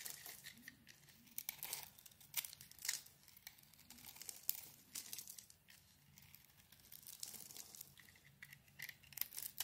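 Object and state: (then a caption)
Soap bar being scraped. A metal blade scrapes a solid hand-wash soap bar with a green coating over a yellow core, shaving it into crumbly flakes. The sound is a quiet run of dry, bright, crackly scraping strokes in uneven bursts, with very little low end.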